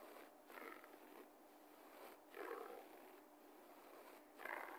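Both hands claw and scratch the pile of a low-pile beige carpet floor with fingertips and nails. Five soft, raspy scratching bursts stand out from a quiet, hissy rustle, their texture concentrated in the mid-range.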